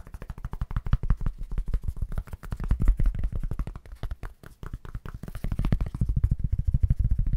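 A thin, solid white foam packing sheet is tapped rapidly with fingertips while held in both hands in front of the microphone. It gives a fast, continuous patter of dull, low thumps with almost no ring, pausing briefly around the middle before picking up again.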